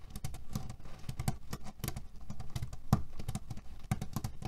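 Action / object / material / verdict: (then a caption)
scrape / cotton canvas pillow filled with cherry pits / cherry pits / none. Fingernails scratch fast across a cotton canvas pillow filled with cherry pits, making a dense run of short, dry, rattling crackles. The pits shift and clatter in a dull, low-heavy patter with quick bright ticks, each sound dying away almost instantly.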